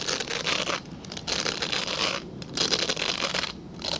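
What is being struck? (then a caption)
Glycerin soap bar. Fingernails quickly scratch a translucent solid glycerin soap bar held upright. The result is bursts of dry, bright scratching separated by brief quiet gaps, with little low end.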